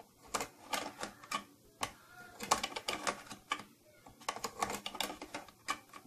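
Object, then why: Plastic case. Long nails tap repeatedly on the upper front of a closed, hollow purple plastic tattoo kit case with silver trim. The result is a quick, irregular run of sharp, bright, clicky plastic taps with a light hollow ring that dies away almost at once.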